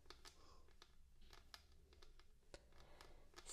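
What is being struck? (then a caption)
Wooden tabletop. Both hands rest on a flat, solid wooden tabletop while long dark-painted nails and fingertips tap it, with glass jars sitting untouched in the background. Quiet, sharp, bright clicks come in an uneven stream, each dying away almost instantly over a soft low hum.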